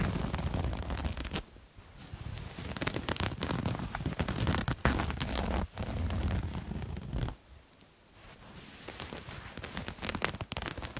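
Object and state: Fabric garment scratched.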